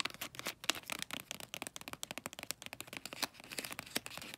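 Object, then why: Small gift box wrapped in glossy paper. Fingernails scratch and tap the glossy light-blue bulldog-print paper wrapping a small rectangular gift box, including its folded edges. About thirty quick, dry, crinkly taps and scrapes follow one another at a quiet level. The sound is bright and papery with almost no low end and no ringing after each hit.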